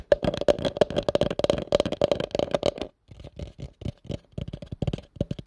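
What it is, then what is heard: Plastic bowl tapped. A hollow, empty pale yellow plastic bowl is held over the mic while a fingertip and nail tap rapidly on its sides. The quick, dry taps carry a hollow ring pitched near 580 Hz with brief bright clicks. After a short pause near the three-second mark, the tapping resumes a little softer.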